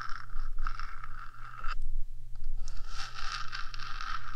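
Long nails on one hand scrape and scratch along the top of a 3Dio microphone's small metal box housing. The result is a dense, bright scratching texture over a steady low hum, with a brief quieter pause midway before the scraping resumes.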